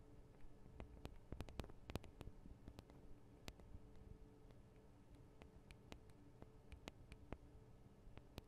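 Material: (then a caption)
Metal. Long acrylic nails on both hands tap the small hollow metal microphone capsules of a Tascam DR-40 recorder. Quiet, sharp, irregular clicks with bright, instantly fading tips sound over a soft, steady low hum and faint background hiss.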